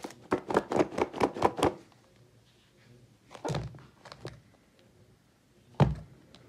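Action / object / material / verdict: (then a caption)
tap / rigid plastic clamshell container with salad / plastic / none. A clear, rigid, medium-sized plastic clamshell salad container, hollow and partly filled with loose salad leaves and cherry tomatoes, is tapped on the lid with long pink nails in a quick run of seven hollow, clicky taps. It is then picked up and shaken, and the contents thunk against the plastic in a few scattered knocks, ending with one louder, deeper thunk.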